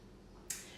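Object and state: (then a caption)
Sourdough loaf, baked through (hollow). A finished sourdough loaf is tapped once, giving a single short, bright, hollow knock that fades quickly against a low background hiss. The hollow sound shows the loaf is baked through.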